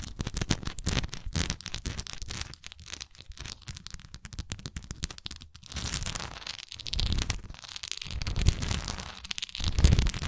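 Long nails tap and scratch the sides of a solid wax pillar candle with a swirl relief. A dense, uneven stream of crackly scratching and quick, dull taps fills the clip, with low thumpy weight and a bright, papery hiss. Each tap dies away almost at once, and the scratching grows louder and fuller toward the end.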